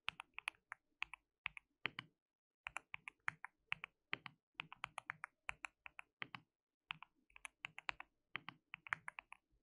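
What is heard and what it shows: Fingertips of both hands type continuously on a white mechanical keyboard with plastic keycaps. About 48 crisp, bright clicks come in quick irregular bursts with brief pauses between runs. Each click is short and dry, with almost no ring and little low end.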